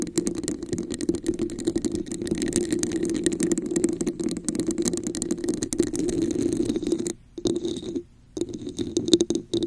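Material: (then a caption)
Plastic. A red, hollow, textured plastic cup sits upside down over a microphone while long acrylic nails scratch its sides and tap its top. The result is a dense, continuous rasping scratch with a hollow resonance around 340 Hz and many quick clicky taps layered throughout. Two brief near-silent gaps come near the end before the scratching resumes.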